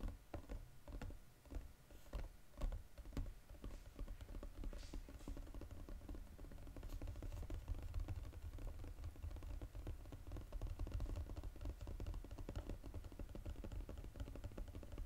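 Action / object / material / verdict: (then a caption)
tap / foil-covered cardboard box / cardboard / none. Fingertips tap and scratch the gold foil-coated bottom of a flat Godiva cardboard box. A few separate dull taps open the clip, then they speed up into a dense, steady patter of soft, low, thumping knocks. Each tap dies away almost instantly, with no bright ring.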